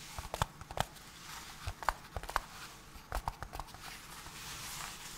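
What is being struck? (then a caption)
Small cardboard box. A small, hollow cardboard camera adapter box is held in gloved hands and scratched and rubbed with the fingertips. Short, dry scratches and taps come in irregular clusters over a soft, steady hiss. Each sound stops almost at once, with no ring.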